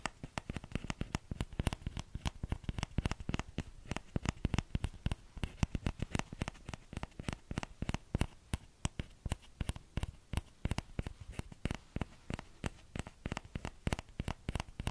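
Fingertips tap rapidly and steadily on the hollow bowl of a small orange plastic ladle. Each tap is a short, dry knock, mostly low thump with a faint bright click and no ring, repeating continuously at a quiet level.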